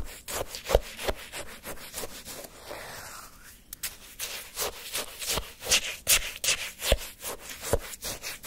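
A flat wooden spoon scrapes and stirs through a cup of orange granular sherbet shaved ice held in one hand, lifting slushy chunks. Repeated crisp, crunchy scraping strokes with bright, gritty icy texture come at an uneven pace, with a softer, smoother stir in the middle.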